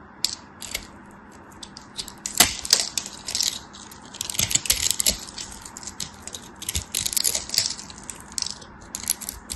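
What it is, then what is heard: Bar soap being carved. A solid, dry, hand-sized green bar soap, pre-scored into cubes, is held by long white nails while a metal craft knife carves and scrapes off small cubes that crumble away. Dense bursts of bright, crisp crunching and scraping ticks come in clusters over a faint steady hiss. The crumbling cubes break off in sharp, short-lived crackles.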